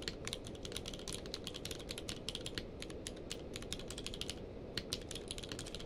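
A full-size mechanical keyboard with a blue-grey case and white and grey plastic keycaps lies on a blanket while both hands type rapidly on the keys with their fingertips. Quick, bright plastic clicks follow each other in an irregular stream over a steady low background rumble, each keystroke dying away almost instantly.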